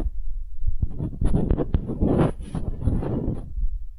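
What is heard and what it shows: A small solid wooden hemisphere is tapped and scratched with long nails. The sound is close and muffled, with dull, low knocks mixed with soft scraping across the four seconds and little high-end brightness.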